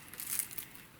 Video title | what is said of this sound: How to make crispy diner style hash browns | how crispy that is